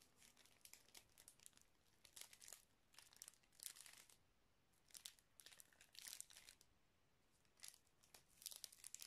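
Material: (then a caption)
Plastic. A small clear plastic zip-lock bag with red stripes near the seal, filled with small colourful items, is squeezed and crinkled by the fingertips of both hands. Quiet bursts of bright, crisp crinkling come in irregular clusters separated by short near-silent pauses, with almost no low end.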